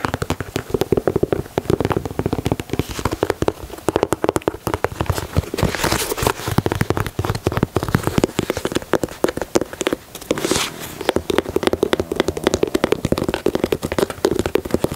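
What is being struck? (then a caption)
Leather sneaker. Fingernails scratch the speckled midsole and tap the heel leather of a white leather Air Jordan 4. Dense, rapid, dry clicks and taps continue throughout the clip with almost no ring, with a brief lull near the 10-second mark. The scratching adds a soft, crackly texture beneath the taps.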